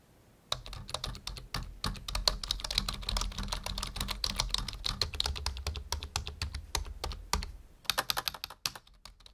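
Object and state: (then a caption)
Plastic computer keyboard. Fingertips of both hands type quickly on a full-size black plastic membrane computer keyboard resting on a wooden desk. A dense stream of short, bright clicky key taps over a soft low thump begins after a half-second of quiet, runs steadily, dips briefly near the end, then finishes with a last quick burst of keystrokes.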